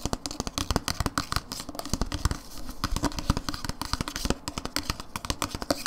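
Long nails tap and scratch a hollow plastic dip tub with a blue lid and paper label, held on its side. Quick, dry, clicky taps land in rapid, uneven bursts, with light scratching between them.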